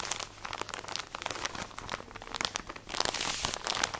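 Long nails scratch and squeeze a full plastic drawstring package of cotton pads, producing dense, bright crinkling with many quick, sharp rustles. The crackle swells louder and thicker toward the end, with little low-end weight.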